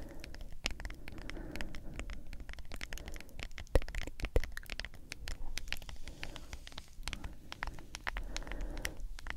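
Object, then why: Plastic powder tub. Long acrylic nails tap and scratch the lid and sides of a medium hollow plastic G Fuel powder tub with a white lid and printed label. Rapid, irregular clicky taps mix with dry scratching over a steady low hum, with two sharper, louder taps around the middle. Each tap is short and dies away almost instantly.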